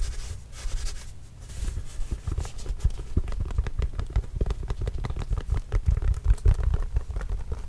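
A full-size orange Spalding leather basketball, hollow and inflated, signed with marker and carrying a Trail Blazers logo, is scratched with the fingernails and then tapped with the fingers. Soft scratching gives way to a rapid run of dull, low, thumping taps with a short, hollow resonance.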